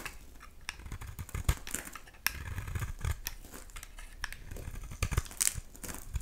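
A solid oval pink bar of soap held in the hand is scraped and shaved with a utility knife blade, with flakes falling away. The result is a run of short, crisp scraping strokes with bright, gritty edges over a soft low rumble, and a few sharper cuts stand out.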